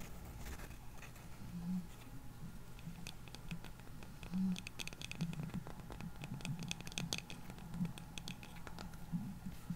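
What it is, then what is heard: Plastic cup tapped and scratched. Fingernails scratch and tap the outer wall of a small, hollow, clear plastic cup with something visible inside, held near the microphone. Quick, bright clicks and dry scratching patter irregularly over a steady low rumble, with a few slightly louder taps along the way.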